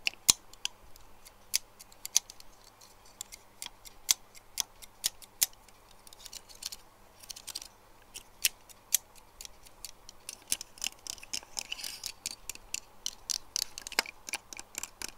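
Fingernails tap the teeth and handle of a large, hollow, grey matte plastic claw hair clip resting on a desk. The result is a run of sharp, bright, dry plastic clicks with almost no ring, spaced irregularly at first and coming faster and denser in the last few seconds.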